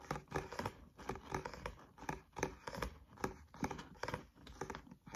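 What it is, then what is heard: Paperback book with card cover. Nails and fingertips tap and scratch the card front cover of a thick, solid green paperback textbook held upright. Quick, dull taps come in a steady rhythm, mixed with dry, papery scratching, and each tap dies away almost at once.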